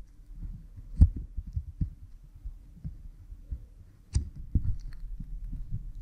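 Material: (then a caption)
Silicone. A cotton swab rubs behind an oiled pink silicone ear model microphone, producing close, muffled low thumps and rubbing sounds with a deep hum-like rumble. Two sharper bumps stand out near the start and the middle, and the sound has almost no bright content.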